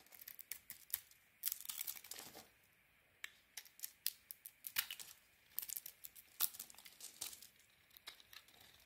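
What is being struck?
Bar of soap scraped with a metal blade.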